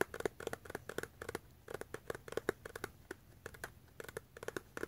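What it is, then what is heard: Small cardboard box. Fingertips and nails tap and scratch the sides of a small, closed, hollow yellow-brown cardboard box with a white label. The result is a rapid, uneven run of about 25 quiet, dry taps with a hollow, papery tone and almost no ring, interspersed with faint scratching.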